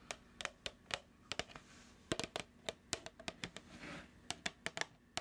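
A hollow, medium plastic food tub with a printed label and a lid is held in the hands and tapped with long acrylic nails. About twenty short, bright, dry clicks come in an irregular rhythm, some in quick clusters, with a light hollow tone, and each fades almost instantly.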